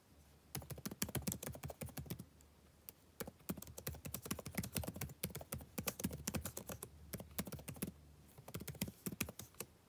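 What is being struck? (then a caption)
Plastic laptop keyboard. Fingertips type in quick bursts on a backlit laptop keyboard with plastic keys, producing rapid, short clicky taps with bright tops over a soft low thump. The typing pauses briefly twice, then resumes.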